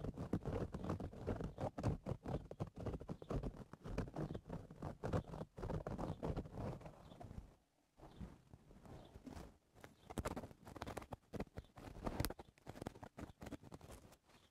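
Fingernails tap and scratch the crown of a woven straw cowboy hat. The result is a dense run of soft, dry, rapid taps and scratchy rustles with a muffled, low-heavy tone. The sound briefly falls quiet near the middle before the tapping resumes.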